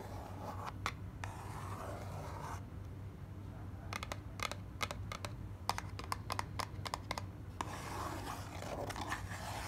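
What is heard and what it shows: Long black nails scratch and tap the inner base of an open lilac cardboard box with a printed card insert, held in the hand. Soft, papery scratching opens the clip, then a run of sharp, dry, bright taps follows before the scratching returns. A steady low hum sits underneath throughout.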